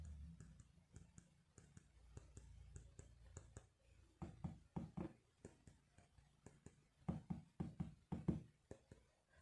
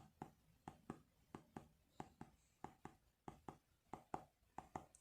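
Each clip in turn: First: solid-sounding phone screen. Second: hollow-sounding phone screen.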